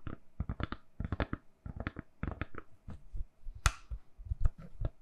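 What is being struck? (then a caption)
Silicone-covered phone case. A hand-sized, solid phone case covered in lilac silicone, fitted on a phone and held in both hands, is tapped on its back with long nails. Quick clusters of quiet, soft, dull taps follow one another, with one sharper, brighter click near the end.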